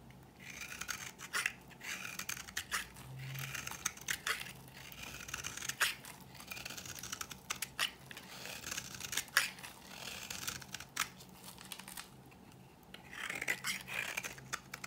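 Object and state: Dry bar soap.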